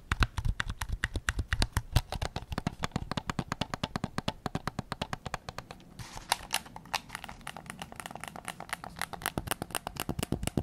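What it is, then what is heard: Plastic game controller tapped. Fingertips rapidly tap the grip and back of a white PS5 controller made of hollow plastic. Each tap is a short, sharp click over a low, hollow thump that stops almost instantly, in a steady quick run. A softer, brighter stretch comes around the middle before the taps pick up again.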